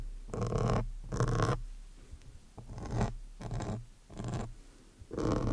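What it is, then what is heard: Foam microphone windscreen being scratched. A metal awl needle with a yellow handle is scratched across the top of a large, soft, porous black foam windscreen on a studio microphone. It makes six dull, muffled bursts of scraping, heavy in low rumble over a steady low hum. There are quieter pauses between the bursts.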